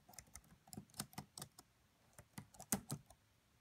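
Fingertips and long nails type and tap on the black plastic keys of a red laptop's plastic keyboard. About a dozen quiet, irregular key clicks are heard, each short and dry with a bright tick and a soft low thump.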